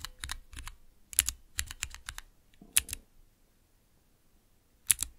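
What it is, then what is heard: Plastic mechanical keyboard switch tester. Long-nailed fingertips rapidly press and tap the keys of a small 3x3 switch tester, with clear plastic keycaps on Cherry MX switches set in a clear plastic base and resting on dark velvet. Crisp, bright plastic clicks come in quick bursts with a short, noisier rustle partway through. After a quiet pause, a final pair of clicks closes the clip.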